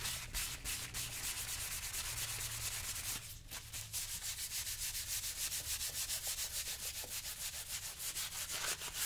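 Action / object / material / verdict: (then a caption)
scrape / leather boot rubbed with a sponge / leather / none. A brown leather lace-up boot, worn on a foot and resting on a shoe-shine stand, is rubbed on the toe and vamp with a yellow sponge held in the hand. Quick, steady, bright rubbing strokes repeat about three times a second over a low, constant hum, with a brief dip in the strokes near the middle.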